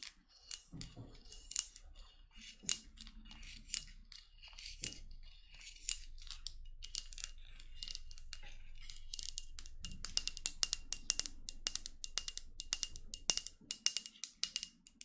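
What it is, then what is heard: Glass perfume bottle tapped and scratched with nails. Long blue acrylic nails scratch and tap the sides and gold cap of a small, solid-looking red lacquered glass perfume bottle (Opium-style) with a gold label, held close to the mic in both hands. Bright, short clicks and dry scratching carry a faint high glassy tone, with a few louder taps early on. The tapping grows denser and quicker in the second half.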